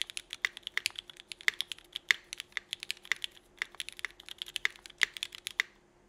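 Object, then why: Mechanical keyboard, ABS plastic keycaps. Both hands type with their fingertips on a 65% mechanical keyboard with Cherry Vintage Black switches, an aluminum plate, and red and black GMK Burgundy ABS plastic keycaps. About forty short, sharp, bright clacks come in a quick, uneven rhythm, each one dying away almost instantly. A faint steady hum sits underneath.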